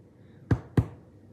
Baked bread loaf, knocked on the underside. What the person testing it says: Nice and hollow. Perfect. Perfect. Perfectly cooked.